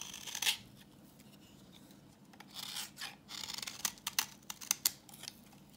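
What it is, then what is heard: Dry soap bar scraped with a blade. A utility knife blade scrapes a solid, translucent, reddish bar of dry vintage soap held in the hand, shaving off orange curls. The sound is a quiet, bright, dry scraping with a rasping, tearing texture, broken up by sharp crackling snaps toward the end.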